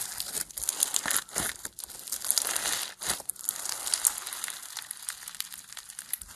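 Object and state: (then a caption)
Foam bead slime (floam). A solid lump of pastel foam bead slime (floam) is squeezed and stretched between both hands with the fingers. It gives a dense, bright crackling and crinkling with quick popping bursts, nearly all in the high range with almost no low end. The crackle swells and fades irregularly throughout.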